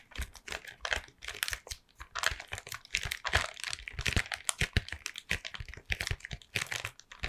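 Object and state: Cardboard chocolate box.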